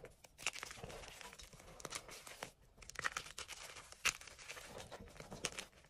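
Fingers crush, rub and break up crumbled chunks of white and green dyed gym chalk in an enamel bowl, working the soft chalky flakes. The result is a steady, dry, bright crunching and crinkling, with sharper crisp snaps standing out around half a second, three seconds, four seconds and five and a half seconds.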